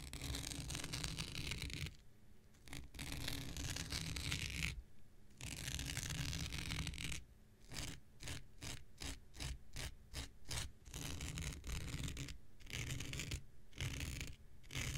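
A hand-held, hand-sized thin blue non-woven synthetic fiber scouring pad is scratched across its surface with an X-Acto knife blade. Long, dry, rasping strokes, broad and bright with a heavy low rumble, alternate with brief silent pauses, then give way to a run of quick, short back-and-forth scrapes before longer strokes return.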